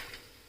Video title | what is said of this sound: १५ मिनिटांत कुरकुरीत कोबी मनच्ययुरन | अशा काढतानाच बघा किती कुरकुरीत आवाज येतो